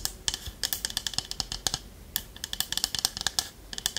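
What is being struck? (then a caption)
Small wooden pot with lid. Long nails scratch and tap the body of a small hollow wooden pot with a lid and a spoon in it. About twenty quick, bright clicking taps come in uneven bursts with a brief pause midway. There is little low end and almost no ring.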